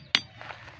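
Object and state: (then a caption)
Ringing stone. A natural ringing stone is struck once with a sharp, hammer-like impact. The strike gives a bright, high metallic clink with a clear pitch near 3.6 kHz that dies away almost at once, followed by faint, quiet background sound.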